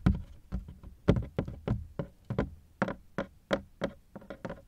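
Fingertips knock and patter on the ribbed sides of a large black hard-shell plastic suitcase, which is hollow and partly unzipped. Fourteen short, dull, hollow knocks sound in an uneven rhythm, each with a deep boomy thud and a quick fade.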